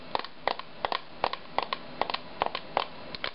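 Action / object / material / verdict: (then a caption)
tap / small metal mint tin lid tapped with fingernails / thin metal / none. Long nails tap and scratch the lid of a small, closed, lilac-painted metal mint tin lying on a table. The result is a steady run of quick, paired metallic clicks with a bright, short ring that dies away almost at once, over a faint background hiss.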